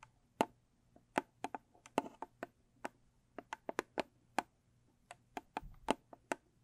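Long stiletto nails tap the sides and then the lid of a small, closed, square rigid cardboard gift box with a blue textured covering. The result is 21 crisp, dry clicks at an uneven pace, each stopping almost instantly with a light hollow tone near 870 Hz. A faint low hum runs underneath.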